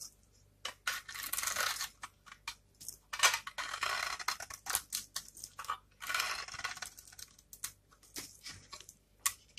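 A small knife blade scrapes and cuts into a rectangular, solid bar of dry, varnished soap with a pink glitter layer and blue-and-white stripes, held in one hand. Irregular bursts of crisp, bright scraping and crackling are heard, each fading quickly. The soap crumbles into flakes that fall onto a wood-pattern backdrop.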